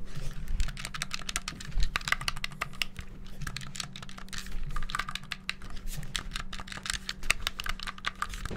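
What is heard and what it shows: The black buttons of a hollow, white handheld plastic gamepad are rapidly pressed and clicked with fingertips and thumbs close to the mic. The result is a dense, fast stream of short, dry, bright plastic clicks over a faint steady low hum.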